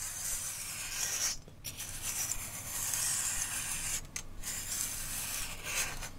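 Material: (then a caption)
Leather. A straight razor is drawn back and forth along the flat surface of a long brown leather barber strop with metal studs at the top, held taut by one hand. The strokes make a steady, bright, rasping rub, mostly high in pitch with a faint low hum underneath. The sound briefly dips in two short gaps between passes.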